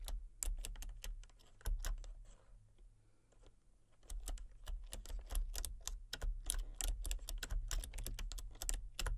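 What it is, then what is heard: Plastic computer keyboard being typed on. A full-size backlit plastic RGB computer keyboard with hollow key switches and colour-cycling lights is typed on rapidly with fingertips and long painted nails. Quick, sharp clicks and clacks come in bursts over a steady low hum, with a softer, sparser stretch in the middle before the typing picks back up.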